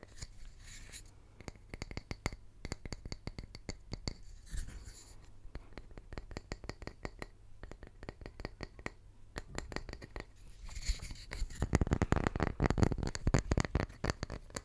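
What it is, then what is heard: Wooden tree slice. A small, round, solid wood tree slice has its face scratched and tapped with fingertips and short nails. The result is a long run of dull, short, irregular taps and scratches, dense and bassy, that grow louder and busier toward the end.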